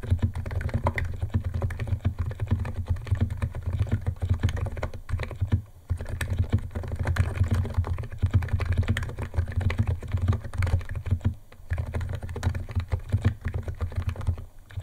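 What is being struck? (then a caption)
Plastic keyboard keys and case. Fingertips of both hands type fast on a white compact 68-key Niz ATOM 68 keyboard with electro-capacitive switches, white plastic keycaps and a plastic case, resting on a wooden desk. A dense, continuous stream of short, muted keystroke clicks rides over a steady low hum, with brief pauses near 6 and 11.5 seconds.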